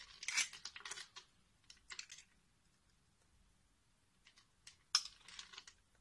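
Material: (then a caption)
Soap. A small metal box-cutter blade scores and scrapes a solid, palm-sized translucent green bar of soap held in one hand, cutting it into a grid and shaving off small cubes. Bursts of bright, dry scratching and crisp cutting come in quick clusters with short pauses, with a sharp louder scrape near the end and almost no low end.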